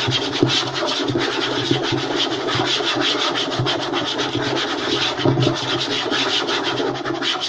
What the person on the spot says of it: EXTREMELY FAST AND AGGRESSIVE Wooden Table Tapping and Scratching